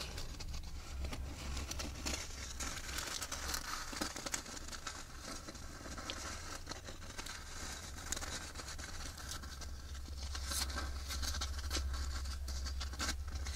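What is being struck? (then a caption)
Wafer ice cream cone. A small, empty, hollow wafer ice cream cone is turned in the hands while long red nails tap and scratch its rim and sides. The sound is a steady stream of dry, crisp crinkling and scratching with quick light taps and bright edges, over a constant low rumble.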